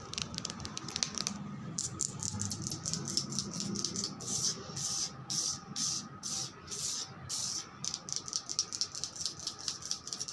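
Long pointed red acrylic nails tap and scratch across a large, flat, solid white-grey veined marble slab. Quick, bright, dry clicks come in an irregular patter, broken up by longer hissing scrape strokes in the middle. A faint low hum sits underneath.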